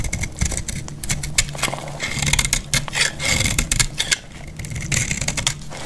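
A solid, dried green bar of soap is held in the hand and scraped and cut with a metal blade, producing shavings. The cuts make a run of dry, crisp scraping clicks and rasps with bright, high crackle and a low rumble beneath, each stroke dying away almost instantly.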